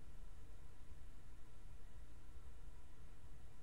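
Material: Nothing is struck.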